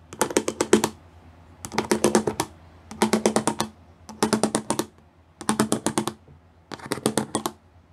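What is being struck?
Plastic panel with pyramid studs.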